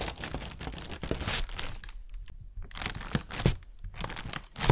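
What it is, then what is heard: Plastic bag. An inflated, hollow white plastic bag is tapped with a fingernail and crinkled with the hands. Dense crinkling and rustling carry sharp crackles and soft hollow taps, with a few brief lulls. The sound grows louder again at the end.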